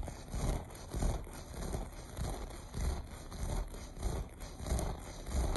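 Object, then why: Looped pile carpet. Short fingernails scratch across the loops of a beige looped carpet in repeated strokes. Each stroke makes a soft, muffled scrape, heavy in low rumble with faint crackle above. The strokes swell and fade in an uneven rhythm over about five seconds.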